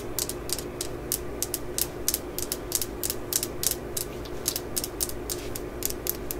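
A worn, solid steel claw-hammer head, held upright, is tapped and scratched with long acrylic nails. It makes a steady run of quick, bright clicks with a high, thin ring that dies almost at once, over a low constant hum.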